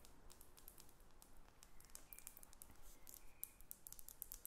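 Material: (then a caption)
Glass. Long acrylic nails tap and scratch a faceted glass perfume bottle with a metal cap, held above a sheet of paper. The result is a quiet, steady stream of rapid, bright clicks and brief glassy scrapes, with short high pings standing out over a low, dull background rumble.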